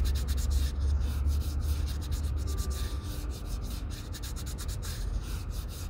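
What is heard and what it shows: The toe of a leather Red Wing Pecos 9801 cowboy boot is sanded with a small folded piece of sandpaper held under the fingertips. Brisk, steady rubbing strokes make dry, scratchy bursts of bright hiss over a constant low rumble, and the sound eases slightly toward the end.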